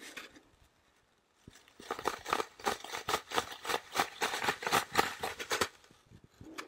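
Fingernails scratch and rub the surface of a solid, porous green floral foam brick with crumbled edges, held upright beside the microphone. After a near-silent opening, a rapid run of dry, crackly, bright scraping strokes comes about four per second, then fades to softer rubbing at the end.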